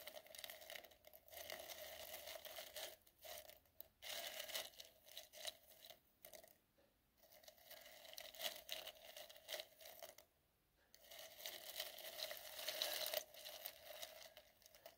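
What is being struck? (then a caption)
Glitter-coated styrofoam balls in a glass bowl. A soft white makeup brush rubs and pushes small, solid, gold glitter-coated styrofoam balls around in a clear glass bowl. The result is a steady, bright, crinkly scratching and rustling in irregular bursts, broken by a few brief pauses near the middle.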